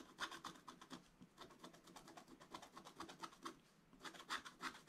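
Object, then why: Coated scratch-art paper and wooden stylus. A wooden stylus scratches lines into the black coating of a scratch-art paper page. Quick, irregular dry scratching strokes come in short bright bursts, with a quieter pause near the end before a louder flurry of strokes.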